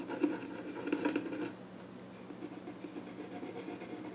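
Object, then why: Small wooden stool top. A pencil scratches short strokes across the flat top of a small wooden child's stool. Dry, rasping scrapes are louder and denser in the first second and a half, then continue as softer, lighter strokes on the wood surface.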